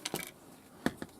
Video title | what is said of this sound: Roberts R900 Transistor Radio With A Few Issues | you can really hear that screw knocking on that now